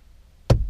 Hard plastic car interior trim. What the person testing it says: c'est vraiment fort c'est dur ça sonne creux